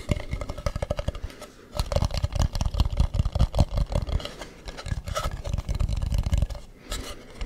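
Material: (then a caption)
Wood. Fingertips tap and scratch a hollow carved wooden mask with a smooth dark inside and a painted, ribbed front. Rapid bursts of short, dull, low thumps mix with soft scratching and break off in brief pauses. Each tap dies away almost at once.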